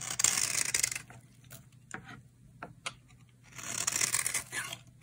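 A utility knife blade shaves flakes off a solid, dry, coral-red bar of soap held in the hand. Two bursts of bright, crisp scraping and crackling are heard, with a few short, sharp ticks in the quieter stretch between them.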